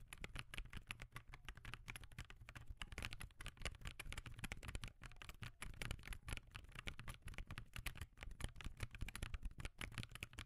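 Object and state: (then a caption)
Plastic laptop keyboard being typed on. Both hands type with their fingertips on a backlit laptop keyboard with plastic keys, making a rapid, continuous patter of short, dry clicks and taps. Each keystroke dies away almost instantly. A steady low hum runs underneath the whole time.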